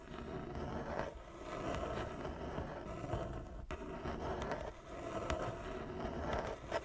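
Long nails scratch the surface of a large, flat wooden chess board with inlaid squares, using both hands. A continuous dry, rasping scrape with a low rumble runs throughout, with brief dips and a few sharper catches along the way.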